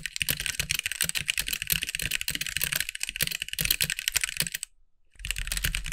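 Fingertip typing with both hands on a compact backlit mechanical keyboard with white plastic keycaps produces a rapid stream of short, bright, clacky keystrokes with a light low thump beneath them. The typing pauses into near silence for about half a second near the end, then resumes at the same pace.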